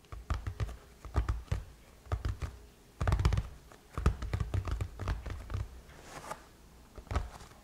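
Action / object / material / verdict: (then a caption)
tap / aluminum laptop lid / aluminum / none. Long chrome-painted nails tap and scratch across the surface of a closed silver aluminum MacBook lid. The result is a quick, irregular run of dry, low thunking taps with soft scratchy brushing between them, each tap dying away almost at once.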